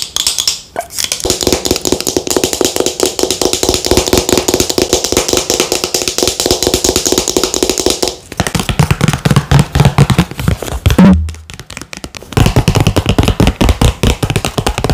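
A green plastic avocado face mask squeeze tube with a flip cap is held in a hand while long nails tap rapidly on the tube and cap. The result is a dense stream of quick, dry clicks and hollow plastic taps with very short decay. Brief pauses come near 8 and 11 seconds, and the taps turn deeper and thuddier in the second half.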